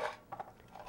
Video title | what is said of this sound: Overview of Drying | berries should be dried until they rattle when shaken